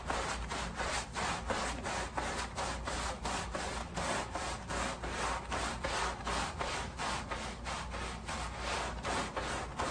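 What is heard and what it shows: A long-handled, wooden-backed deck brush with natural bristles scrubs a wet, soapy, patterned pile rug lying front side up on plastic sheeting. It makes a steady run of wet, rasping back-and-forth strokes, roughly 85 per minute, over a constant low hum.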